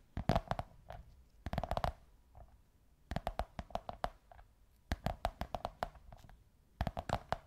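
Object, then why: Cardboard tube. Long white nails tap and scratch a curved beige kraft cardboard tube, producing quick clusters of dry, hollow taps with short pauses between. Each tap is muffled and dull, with a low body and a faint hollow tone in the midrange, and dies away almost instantly.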